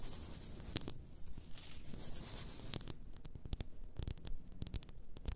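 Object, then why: Glass bottle of bath salt crystals. A large champagne-shaped bottle, apparently glass, with a paper label and filled with pink bath salt crystals, is tapped and scratched along its sides by long nails. Sharp, bright clicks and scratchy scrapes come in irregular bursts over a steady low rumble, with each tap dying away almost instantly.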